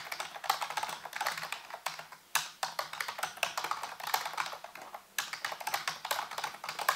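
Fingertips type rapidly on a full-size black plastic computer keyboard with hollow keys, set on a white base. Dense, bright, clicky key taps come in quick bursts, with two brief pauses partway through.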